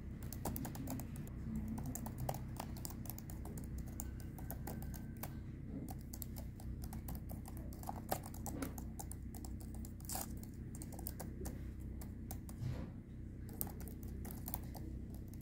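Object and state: Plastic laptop keyboard being typed on.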